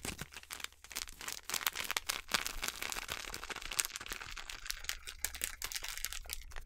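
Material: Plastic foil.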